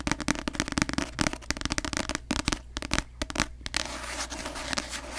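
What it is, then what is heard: Paperback book tapped with nails. Long nails tap fast on the glossy cover of a paperback novel held upside down in front of the mic, giving rapid, dry clicks on a solid block of paper. The taps cluster in quick bursts with very little ring, and toward the end they soften into lighter, scratchier taps over a steady low hum.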